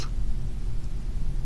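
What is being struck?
Nothing is struck.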